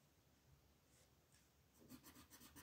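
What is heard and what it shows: An orange wooden colored pencil scratches and rubs over a thin printed paper coloring book page resting on a wooden table as petals are colored in, while a long-nailed hand steadies the page. Quiet, soft rubbing gives way to louder, brighter, rhythmic scratching strokes toward the end.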